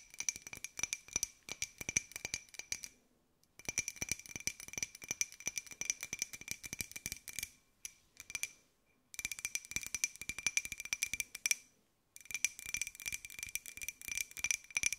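Long acrylic nails rapidly tap a small, hollow, white glossy ceramic jar with a pineapple print while it is held in the hands. The result is fast, dry, clicky rattling taps with a steady bright ring near 2.4 kHz and a higher shimmer above it. The tapping comes in four bursts separated by brief silent pauses.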